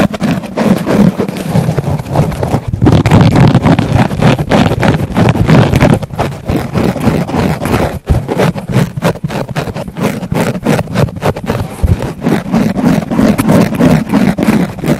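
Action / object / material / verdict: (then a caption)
scrape / foam sponge pressed against a microphone / foam / none. Fingertips with painted nails poke, press and squeeze a thick, round pink foam sponge held in both hands, with a small black mic set in its center. The result is a dense stream of muffled, low, thumping rustles in rapid, irregular succession, with almost no bright content.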